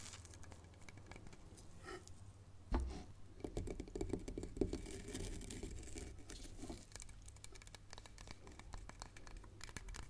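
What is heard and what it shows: A hollow wooden log section with rough bark is held end-on and then set upright on a chessboard while long nails scratch and tap its bark surface. Quiet, dense scratching and quick dry taps run throughout over a low rumble, with a sharper knock near the three-second mark and a hollow tone around 380 Hz during the busier middle stretch.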